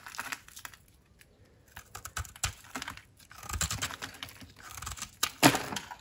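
A metal utility knife blade shaves and cuts crunchy flakes off a round, solid pink bar of dry soap held in the palm. Dry, crisp scraping strokes and short, bright crackles come in uneven bursts with brief quiet gaps. A final sharp, crunchy cut near the end is the loudest.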